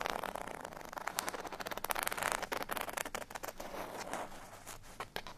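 A folded cardstock bottle tag lies flat on a surface and is scratched with the fingernails of both index fingers. The result is a steady run of quick, dry, papery scratches, bright and hissy with a midrange core, fluttering in loudness and never ringing on after each stroke.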